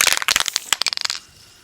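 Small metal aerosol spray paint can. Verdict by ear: Partly full.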